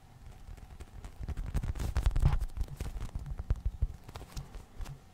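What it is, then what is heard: Foam squishy toy being tapped and scratched. A small, soft, solid polyurethane foam squishy unicorn toy is held in the hands while fingertips scratch, tap and squeeze it. The result is a run of muffled, low, dull taps and soft rubbing at an uneven, quick pace, growing louder and denser in the middle before easing off.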